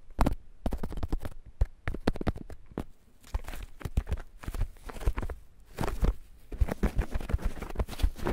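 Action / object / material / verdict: scrape / fresh corn ear in green husk / corn husk / none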